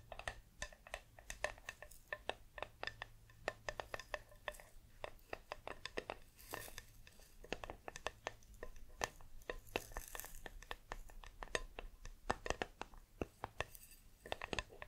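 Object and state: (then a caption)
Metal tea tin tapped with fingernails. A hollow, green, cylindrical metal tea tin with a paper label is held close to the microphone and tapped and scratched with long nails. Rapid, irregular clicks and taps with a bright metallic edge sound in quick succession, each dying away almost at once, over a faint, steady low hum.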